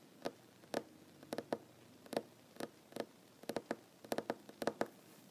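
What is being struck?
Wooden tabletop.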